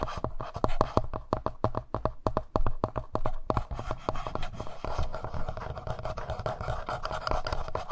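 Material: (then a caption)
Plastic. Fingernails rapidly tap and scratch the front panel of a black plastic, hollow-bodied Tascam handheld audio recorder. Dry, close clicks with almost no ring sit over a dull low thump and a faint hollow tone. In the second half the sound shifts toward a denser, continuous scratching.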